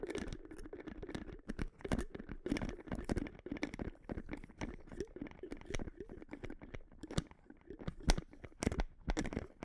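Long nails tap a small, hollow white plastic supplement bottle, likely holding capsules, while it is turned in the hand. Quick, dry clicking taps come in uneven bursts, each with a dull low knock and a brief bright tick that dies away almost instantly. Soft scratchy handling noise, and perhaps a faint rattle, fill the gaps.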